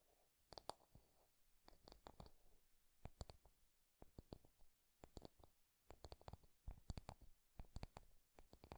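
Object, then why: Wooden hairbrush. Fingertips and nails tap and scratch along a wooden hairbrush with a solid wooden handle and body. Quiet, dry clicks come in quick clusters, each ending almost at once, with soft scratchy texture in between and a dull, low-heavy tone.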